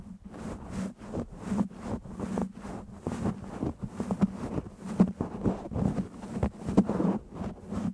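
Fingertips of both hands massage, rub and scratch a black foam windscreen on a microphone. The result is a steady stream of soft, muffled scratching and rubbing with a low hum underneath, broken by short bursts that rise and fall in loudness.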